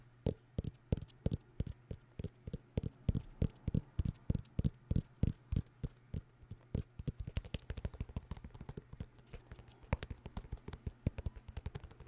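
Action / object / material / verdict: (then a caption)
tap / vinyl record in a cardboard sleeve / cardboard / none. Fingers tap on a vinyl record in its cardboard sleeve, making soft, dull, low thuds with very short decay over a steady low hum. The taps start spaced and even, then turn into quicker, lighter, irregular flurries in the second half.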